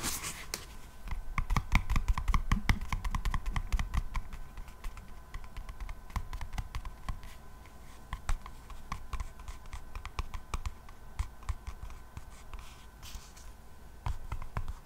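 Long nails scratch and tap a black, textured faux-leather hardcover notebook, making dense, irregular clicky taps and scratches. Sharp, short transients ride over a low hum and steady faint tones near 1 kHz. Activity is busiest in the first few seconds, then settles into sparser clicks.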